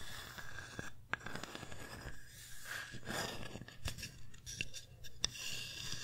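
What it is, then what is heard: Wooden sign tapped and scratched with fingernails. Long painted nails tap and scratch both faces of a flat, solid, hand-sized wooden pumpkin-shaped sign engraved "thankful." Quiet, dry scratching and rustling is broken by a few sharp, clicky taps that stop instantly, over a steady low hum.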